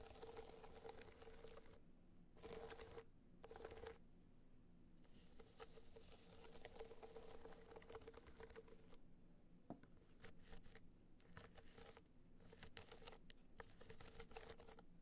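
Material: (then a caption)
Metal. Long nails scratch and tap the side of a small, rigid, hollow gold hard-shell box clutch covered in metallic material with raised dots. Dense, dry scratching and pattering comes in bursts of bright, crinkly noise with short gaps between them. A faint steady hum near 450 Hz and a low rumble run underneath throughout.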